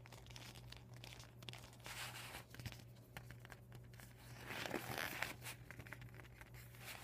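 Fingertips and medium painted nails tap and scratch the plastic panels of a folded, deflated vinyl beach ball. Quiet, rapid crinkling and scratchy taps sit over a steady low hum. A louder, brighter crumpling burst comes near the five-second mark before settling back to soft scratching.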